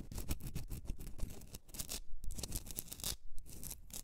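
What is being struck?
Rock salt candle holder.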